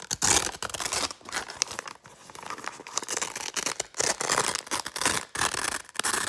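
An open, empty brown kraft paper bag is crinkled and scratched with fingers and nails. The result is a dense run of bright, papery crackles and dry scratches that swell and fade in uneven bursts, with almost no low end.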